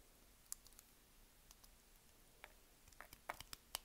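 A solid, palm-sized beige bar of soap is held in one hand and cut into slices and cubes with a utility knife blade. The result is a series of quiet, crisp, bright clicking cuts at an uneven pace, spread out at first and clustering toward the end, each dying away almost instantly.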